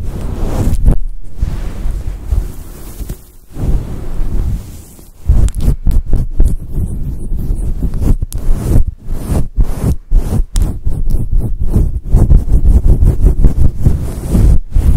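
Long acrylic nails scratch and rub a fluffy grey-white synthetic fur microphone windscreen, producing deep, muffled rumbling swishes. The rustling comes in repeated bursts separated by brief near-silent gaps, with almost all of the energy in the low bass and virtually nothing in the highs.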